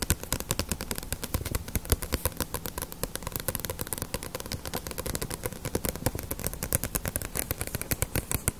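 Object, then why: Paperback book with glossy paper cover. Long nails rapidly tap and scratch the glossy paper cover of a small, solid paperback One Piece manga volume held in the hands. The result is a dense, steady stream of sharp, dry clicks with a soft low thump under each tap and a bright scratchy edge.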